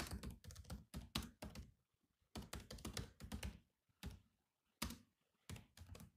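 Both hands type with their fingertips on the black plastic keys of a grey laptop keyboard. Quick, dull clicky taps come in bursts separated by brief pauses, each with a low thunk and almost no ring.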